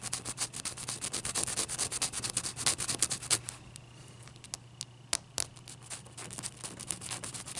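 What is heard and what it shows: Long painted nails rub and scratch a single large, solid ice cube with a frosty surface resting on a towel. Fast, bright, gritty scratching strokes fill the first half, then drop to a quieter stretch with a few sharp isolated clicks before the scratching picks up again. A faint low hum runs underneath throughout.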